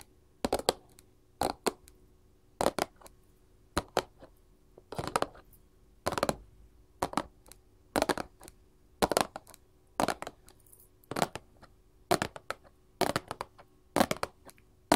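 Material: Cardboard.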